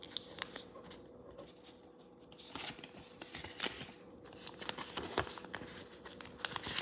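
A thin square sheet of pink origami paper on a wooden table is folded into a triangle and then a square base, with fingertips pressing and rubbing along the creases. Quiet, bright paper crinkles and soft scratchy rubs are broken by sharp, crisp crease snaps, over a faint steady hum.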